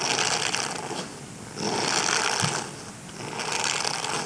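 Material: Silicone.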